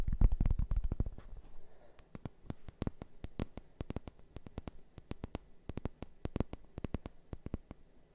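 A large, round, flat, thin solid cork board, held and tilted in one hand, is tapped and scratched with the fingertips and nails of the other hand. A quick flurry of louder taps opens, followed by dozens of dull, low, dry taps at an uneven, fast pace, each dying away almost instantly, with faint scratching between them.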